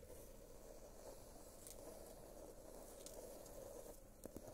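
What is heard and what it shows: A small rectangular gold glitter-covered box, likely hollow cardboard, is held upright in one hand beside the microphone and tapped and scratched with the fingernails of the other hand. The result is a quiet, steady, gritty scratching with a hollow midrange tone around 500 Hz, a faint high sparkle, and a few sharper taps near the end.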